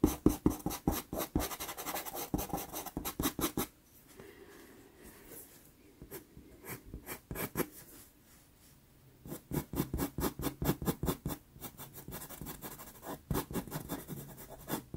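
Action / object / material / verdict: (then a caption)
scrape / pastel pencil scratching on a small sheet of sanded pastel paper taped to a board / sanded paper / none. A wooden-cased dark pastel pencil held in the fingers makes repeated scratching strokes along an eye outline on a small 4.5 inch square of sanded Pastelmat paper taped flat to a board. Quick, dry, gritty strokes come in rapid bursts, fade to softer, sparser scraping in the middle, then return in dense runs. Each stroke is short and dies away almost at once.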